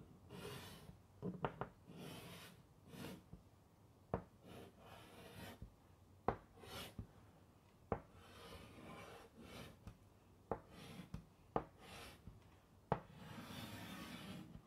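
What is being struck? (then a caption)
Chalk on a wood-framed chalkboard. A stick of white chalk held in the fingertips scratches and rubs across a large, flat black chalkboard in a light wooden frame, held upright by one hand, writing the word "Relax." Soft, breathy scraping strokes come in bursts, broken by sharp, dry taps as the chalk strikes the board.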